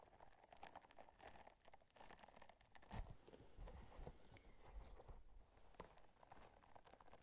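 Long nails scratch and rub the bumpy surface of a small pink textured silicone or rubber scrubber held in one hand. The result is quiet, dense, crackly scratching made of many short, dry ticks with a low rumbling body and occasional bright clicks.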